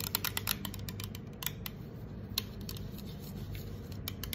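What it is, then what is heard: Aluminum soda can tapped and scratched with nails. Long acrylic nails scratch and tap the curved side of a hollow green 355 mL aluminum soda can standing upright on a marble table, its fill not visible. Quick, sharp, bright ticks and scrapes arrive in a rapid, uneven stream, each dying away almost instantly over a steady low background rumble.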